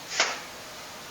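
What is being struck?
Nothing is struck.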